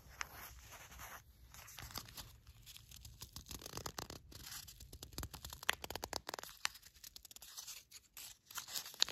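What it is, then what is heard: Paper and foil spice sachet. A small, flat, filled paper-and-foil sachet of mulling spices is picked up from a rug, then tapped and scratched with long matte black nails and handled. The result is quiet, dense crinkling and scratching with many sharp, bright ticks and crunches. The higher peaks stand out toward the end.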